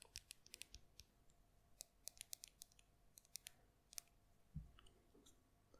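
A small cylindrical yellow and green plastic lip balm tube, held in the fingers, is tapped and scratched with long red nails. About two dozen sharp, bright, dry clicks come quickly with almost no ring, plus a duller, lower rubbing scrape near the end. The sound is quiet and close.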